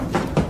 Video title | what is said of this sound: Top 15 Scary Videos That Terrified Audiences | that's not concrete that's Hollow